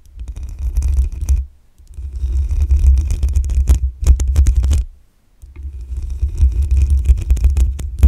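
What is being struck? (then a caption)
Metal mesh microphone grille. Long acrylic nails scratch the black metal mesh grille on the hollow head of a desktop condenser microphone. The sound is a dense, boomy low rumble with fine crackling scrapes, coming in three scratching passes separated by brief near-silent pauses.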